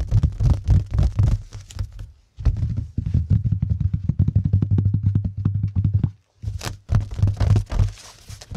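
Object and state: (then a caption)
Plastic-wrapped mirror. Fingertips scratch and rub the crinkled cling film wrapped around a flat mirror in a white cardboard mat, held up close to the mic. The result is a dense, rapid run of boomy, low-heavy scratching and rustling bursts with little brightness, broken by brief silent gaps around 2 and 6 seconds.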